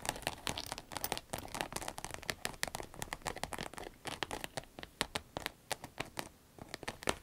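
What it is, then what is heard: Vinyl zip pencil case. Long red nails tap and scratch along the top of a small, hollow, empty cylindrical green vinyl pencil case with a zipper. Dense, quick clicks and crinkly scratching run throughout, each tap brief and bright with little low end, like a patter of rain.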